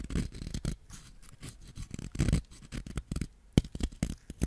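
A white ceramic knife scrapes a solid yellow wax crayon with a torn paper wrapper, shaving off yellow wax shavings and dust. The audio is a quick series of dry, scratchy scraping strokes, each short and clipped with a dull, low-weighted body and almost no ring.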